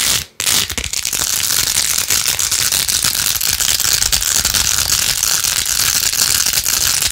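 Long acrylic nails fast-scratch across rows of pink plastic pearl beads glued onto a handheld plastic phone case. After a brief silent gap near the start, a dense, bright, crackling scratch runs continuously, with rapid clicky ticks and almost no low end.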